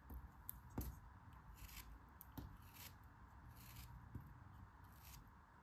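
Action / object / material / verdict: scrape / kinetic sand block cut with a metal knife / kinetic sand / none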